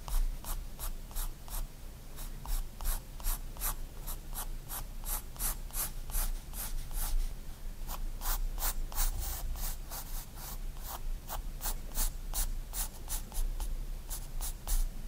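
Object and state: Pencil drawing on a paper sketchbook page.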